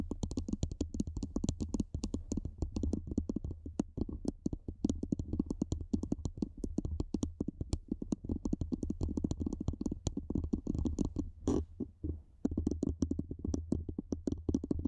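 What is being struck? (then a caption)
Metal microphone body. Long nails tap and scratch along the sides of a black, hollow, cylindrical metal microphone body, using both hands. The result is a steady stream of rapid, dry clicks and scrapes over a low, hollow rumble, with a brief lull near the twelve-second mark before the tapping resumes.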